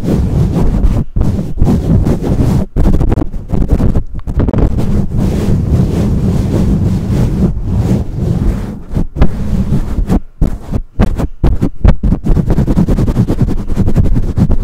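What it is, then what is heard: Metal microphone grille being scratched. Long nails scratch and rub the bare black metal mesh grille of a condenser microphone. The result is a dense, loud, boomy rustling that sits almost entirely in the low end, broken by brief gaps of near silence.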